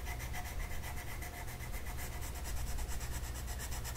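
A purple colored pencil rubs back and forth across a flat paper mandala coloring sheet. The result is a steady stream of quick, rhythmic scratchy strokes with a bright papery rasp over a constant low rumble.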